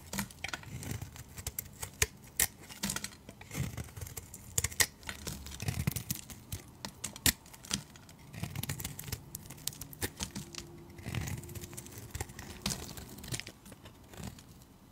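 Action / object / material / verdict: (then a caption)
scrape / soap bar / soap / none. A utility knife blade shaves curls off a solid translucent orange soap bar with pale stripes held in the fingers. The result is a steady run of crisp, bright scraping crackles and sharp clicks over soft low rustling, with short bursts of cutting throughout.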